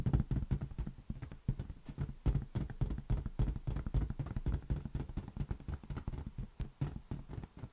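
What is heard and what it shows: A large, hollow, air-filled green latex balloon is tapped quickly with the fingertips of both hands. The result is a steady run of soft, deep, dull thumps with almost no ring.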